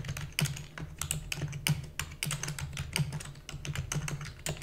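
Fingertips with long natural nails press the keys of a black full-size plastic computer keyboard with hollow key housing, typing rapidly. A fast, uneven stream of bright clacks and taps rides over a low, hollow thump around 150 Hz, each keystroke dying away almost immediately.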